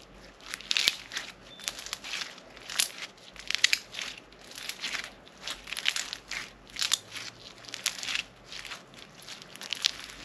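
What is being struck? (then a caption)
Slime with foam beads. A soft but solid lump of crunchy floam slime filled with foam beads is squeezed and kneaded in both hands, with fingertips pressing into it. It gives repeated bursts of bright, crisp crackling bead pops that die away instantly, with almost no low end beneath them.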